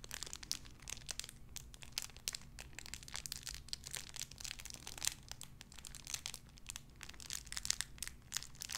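A small clear plastic bag wrapped around a tiny white figurine is crinkled and squeezed between fingertips with long red nails. Dense, bright, crackly crinkling comes in rapid bursts over a steady low hum, with no ringing after each crackle.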